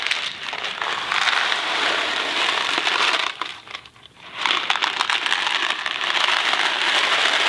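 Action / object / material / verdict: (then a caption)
shake / cardboard box of dry pasta / dry pasta / none. A Kraft macaroni & cheese cardboard box filled with dry pasta is held by the fingertips, tilted and shaken. The contents rattle in a dense, bright, crackling rush with almost no low end, briefly dropping to near quiet midway before the shaking resumes.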